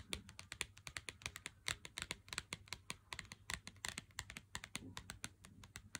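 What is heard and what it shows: Fingernails tap a full Lindt Excellence 90% cardboard chocolate box held in the hand, producing a rapid, irregular stream of dry, bright clicks with almost no ring. A faint steady low hum sits beneath the taps.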